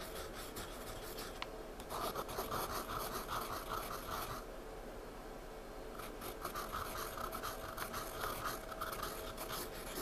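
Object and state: Pencil shading on sketchbook paper.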